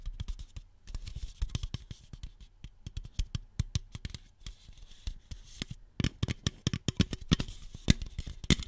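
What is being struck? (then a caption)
Aluminum soda can. Long nails scratch and tap the side wall and top of a single hollow red Shasta aluminum soda can. A rapid, uneven series of short, dry taps and clicks with bright scratchy edges sits over soft, low thumps, each dying away almost instantly. The taps cluster more densely and loudly toward the end.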